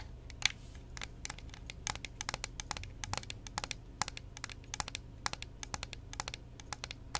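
A hollow, transparent plastic Xbox 360 game controller with purple LEDs, held in one hand, is tapped and clicked with long painted fingernails on its buttons and shell. The result is a rapid, irregular stream of sharp, bright plastic clicks and taps that stop dead with no ring, over a faint steady low hum.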